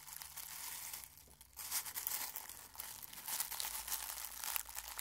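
Fingers crush and crumple dry rose petals in a small clear glass bowl held in one hand. A dense, bright, crisp crinkling and crackling runs throughout, with a brief quieter lull near the one-second mark before the crunching swells again.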